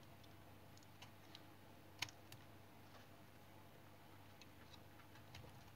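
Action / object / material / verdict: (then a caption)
scrape / bar of tar soap cut with a knife blade / soap / none. A small solid piece of brown tar soap, held in the hand, has its edge scraped and cut with a utility knife blade while shavings fall onto a pile. Faint, sharp little clicks and scrapes sound over a steady low hum, with the strongest crisp snap near the middle.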